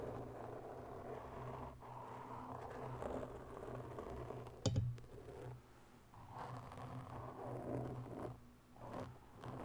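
Long bare fingernails slowly scratch both sides of a large, soft, porous black foam microphone windscreen. The result is a close, muffled, low rumbling scrape that swells and fades, with one sharper, louder scrape near the middle.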